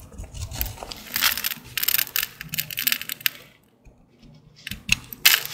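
A green-handled utility blade carves a dry, solid green Old Spice soap bar, producing crisp, bright scraping and crackling bursts. The cuts come in quick clusters, pause briefly near the end, then resume with a few sharp final scrapes.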